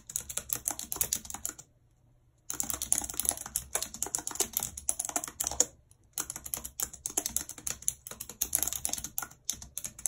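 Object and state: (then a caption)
Plastic computer keyboard. Long red acrylic nails type rapidly on the hollow keys of a full-size white plastic computer keyboard with a numpad, lying on a world map. Dense, bright, clicky key taps sound in quick bursts, with a brief silent pause near two seconds and another shortly before six seconds. Each tap is sharp and dies away almost at once.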